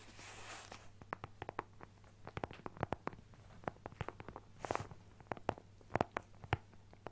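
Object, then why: Fabric-covered hard plastic carrying case. A closed, flat teal Nintendo Switch carrying case with a leaf print, a hollow hard shell with a fabric cover, is held in both hands while its face is tapped and scratched with fingertips and nails. Many quick, dry, hollow taps sound in irregular clusters, with soft scratchy hiss bursts at the start and near the middle, over a faint steady low hum.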